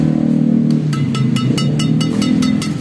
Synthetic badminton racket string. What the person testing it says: Nah, bunyinya memang seperti itu. Ini renyah.